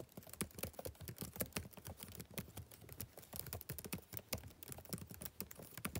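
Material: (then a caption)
Plastic. Fingertips type rapidly on the plastic keys of a backlit laptop keyboard. The result is a quiet, steady patter of short, crisp clicks with soft low thuds under them, each tap dying away almost at once.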